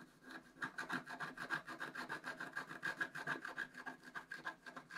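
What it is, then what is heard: Scratch-art card being scratched. A wooden stylus scratches a flat black, wax-coated scratch-art paper card held down by one hand, working near the right squirrel's tail. Quick, fairly regular scratching strokes, about 200 per minute, produce a dry, rasping rub centered around 1.6 kHz, with short bright edges and almost no low end.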